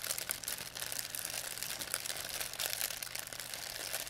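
A thin white plastic pharmacy bag with red and blue print, crumpled into a ball, is crinkled and squeezed in both hands by fingers with long painted nails. A dense, continuous stream of bright, sharp crackles fills the clip at a steady level, with almost nothing in the low end.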